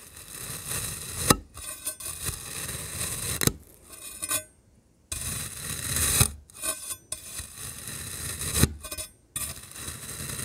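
A rainbow-coated metal knife blade slices and scrapes through a palm-sized solid ring of black kinetic sand with a pink crumbly top layer. Soft, gritty scraping and rasping with a bright hiss runs in passes, broken by sharp crisp cuts and brief quiet gaps.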